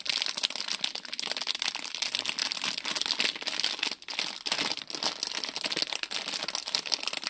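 Fingers crinkle, squeeze and shake a small printed plastic-film Lego City polybag with loose bricks inside. The result is a steady, bright, dense crackle of film rustling and crunching with almost no low end, briefly dropping out around the four-second mark.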